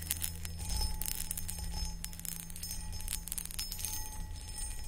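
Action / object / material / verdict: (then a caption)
scrape / cut glass pedestal bowl / glass / none. Long acrylic nails tap and scratch the sides of a medium-sized, empty, hollow clear cut glass pedestal bowl. Quick bright clicks and scratchy rasps run throughout, with faint high ringing tones over a steady low hum.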